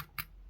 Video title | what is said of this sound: 무려 150만원 짜리 비비탄총 옵션~! RST스틸 슬라이드 USP 버전! 리뷰! | 소리부터가 일단은 이건 그냥 플라스틱이고